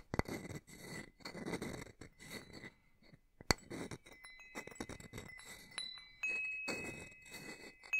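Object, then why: Hanging wind chime with metal tubes. A small hanging wind chime with hollow metal tubes and a wooden top bar, held up by its string, is tapped with a small wooden striker held in the other hand. Bright clinks mix with soft rustling, brushing bursts, and after a sharp strike, thin high tones ring on steadily beneath the tapping.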